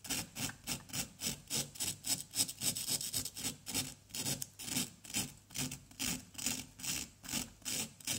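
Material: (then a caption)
Plaster. A small, solid orange plaster dig-kit block resting on cardboard is held by one hand and scraped and scratched with the pointed tip of a wooden stick. The result is a steady series of short, dry, bright scratching strokes with a hissy, high texture, very little low end and no ringing between strokes.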